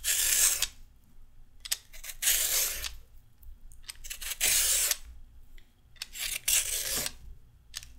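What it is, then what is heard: Raw carrot being peeled. A red-handled metal peeler shaves a small piece of raw carrot in a series of quick strokes. Each stroke makes a bright, dry scraping rasp with short gritty ticks, separated by brief quiet gaps.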